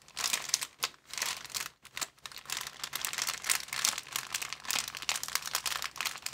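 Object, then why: Thin clear plastic bag. Fingers grip, bend and crinkle a thin, empty, transparent plastic bag. The result is a dense, bright crackling with almost no low end, coming in continuous bursts with brief quieter gaps.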